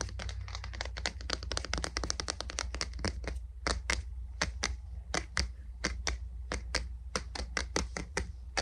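The wooden body of a boot brush is tapped in a quick, irregular rhythm. Dense clusters of taps give way to more spaced-out strokes. Each tap is a short, dry, bright click that dies away almost instantly over a steady low hum.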